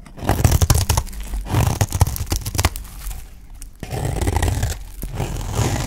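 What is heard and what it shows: A utility knife blade shaves strips off the edge of a solid, dry green olive-oil soap bar held in the hand. Quick, crunchy scraping strokes with a heavy low-end body come in a dense burst, ease into a quieter stretch partway through, then return as a steadier rasping shave.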